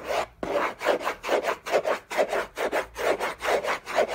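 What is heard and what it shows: Short fingernails scratch the textured surface of a large, flat, hollow orange Hermès cardboard box lid in fast back-and-forth strokes. About nine rough, raspy scrapes swell and fade at a slightly uneven pace. Each has a papery hollow tone centered in the mids with a bright, hissy edge, and there is a brief silence near the start.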